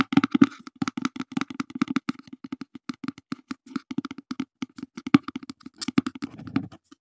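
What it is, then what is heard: Cardboard box tapped with fingertips. A small, open, mostly empty brown cardboard box is held in the hands and tapped with the fingertips in a quick, uneven series. Each tap is a short, hollow knock with a low body near 280 Hz and almost no ring.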